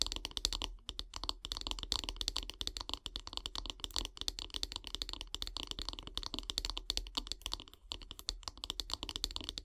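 Long grey nails tap rapidly on the solid light-wood handle of a bath brush, making a dense run of short, dry, bright clicks with almost no ring. The clicks come in quick bursts with a few brief pauses, over a faint low hum.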